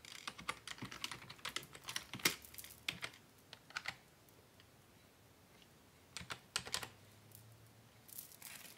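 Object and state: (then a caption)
Plastic computer keyboard being typed on. Fingertips type on a black plastic Dell desktop keyboard resting on a wooden desk, producing quick, bright, clicky taps that die away almost instantly. The typing pauses for about two seconds midway as one hand briefly lifts, then resumes in short bursts.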